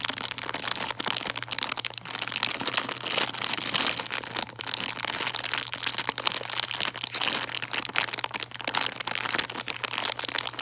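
A full plastic bag of chocolate Santas, held in both hands, is crinkled and scratched with long nails. The result is a dense, steady stream of bright, crisp crinkles and scratches lasting about ten seconds, with no pauses, over a faint low hum.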